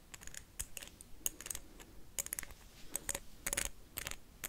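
A blue wax candle is tapped and scratched with paperclips in a fast, irregular run of sharp, bright clicks and brief scratches. Each tap is crisp and dies away almost instantly, with faint low rumble between the hits.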